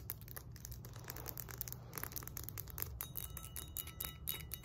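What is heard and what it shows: Long nails tap and scratch quickly across the embossed flat face and the handle of a solid 20 lb cast iron kettlebell resting on a lap. The result is a rapid stream of bright, clicky taps and scratchy rasps with a faint, short metallic ring, over a steady low rumble.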